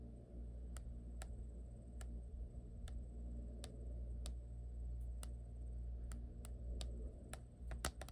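Long nails tap and scratch on the back and camera ring of a black printed hard plastic phone case, on a phone held in one hand. Sharp, bright clicks come at an uneven pace over a steady low rumble, with a faint high tone running underneath.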